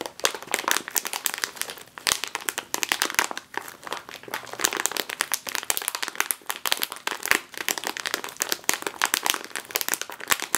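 Long nails and fingertips press and squeeze a full, sealed, foil-lined plastic chip bag resting on a table. The result is a dense, continuous run of bright, crisp crinkles and crackles, with no low end.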